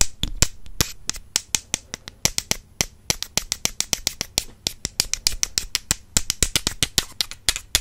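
Two slim, solid wooden makeup brush handles, held in hands with long purple nails, are tapped rapidly against each other. About 44 sharp, dry clicks sound in an uneven rhythm, each bright and cut off almost at once with a faint low thump beneath.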